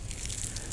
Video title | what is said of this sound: Hidratacion, deshidtaracion o estres hidrico La clave para incrementar produccion de forma natural | las hojas se escuchan crujientes estas deberían tener una cubierta gruesa de cera